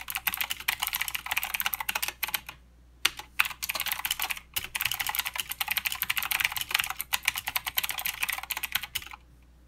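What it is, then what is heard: Mechanical keyboard with plastic keycaps. A mechanical keyboard with plastic keycaps and clicky blue switches is typed on with the fingertips of both hands. It produces rapid, bright clicks in bursts, with short pauses around 2.6 and 4.4 seconds and a quiet stop near the end.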